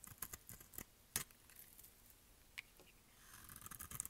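A solid orange rectangular bar of dry soap is held in one hand and cut with a utility-knife blade in quick repeated strokes, sending crumbly orange flakes falling. The cuts are faint, dry and bright, like crisp scrapes and ticks, with one sharper crack partway through. A denser run of scratchy cutting follows near the end.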